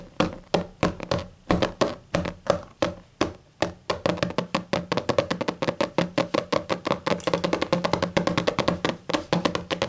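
Long matte green and black nails on both hands tap and scratch a large closed hardcover book with a black textured cover lying on a table. Sharp, hollow, woody knocks around a mid pitch come in a slow, spaced series and then a faster, denser run of tapping. Faint scratchy rustle fills the gaps between the taps.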